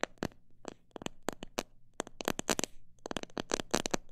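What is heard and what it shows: Long nails tap and scratch the sides and near the top of a clear plastic jar full of mixed bird seed. The result is a quick, uneven run of short, dry, crackly taps with bright, high clicks and almost no ring, mixed with faint scratching between them.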